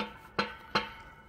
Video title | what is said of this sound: 호메이퍼니처│폰티악소파 소파, 인코스엠 매트리스 | 이게 하지 작업이 되어 있지 않으면은 소리가 이게 다르죠